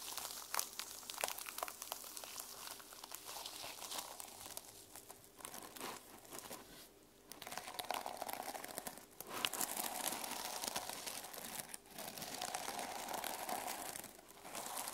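Fingernails scratch the teal sequin cover of a small sequin-covered fabric journal as it is held and as it lies on a table. The result is a dense, bright, irregular crinkling rasp with quick sharp ticks and brief pauses.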